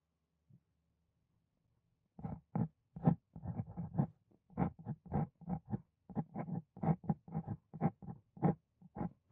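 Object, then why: Steel pen nib on paper sheet. A hand writes on a sheet of white writing paper with a wooden dip pen fitted with a steel nib. After a faint tick and near silence, a steady run of short, soft scratching strokes follows, each one brief and dry with most of its weight in the low range.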